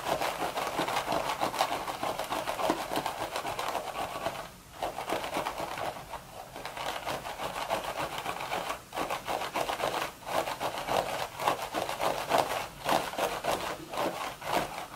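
Long red nails slowly rub and scratch the sides of the hollow crown of a beige woven straw hat. The result is a steady, dry, crackling scratch centered in the midrange, with only brief pauses as the strokes change.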